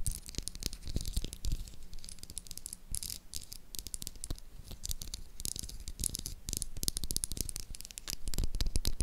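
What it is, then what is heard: Bar of soap. Long acrylic nails tap and scratch on a hand-sized, light blue solid Dove bar of soap. Rapid, uneven taps with short, dry clicks and crisp, bright scratches sit over a soft, low thud. The tapping holds a busy, irregular rhythm and grows slightly louder near the end.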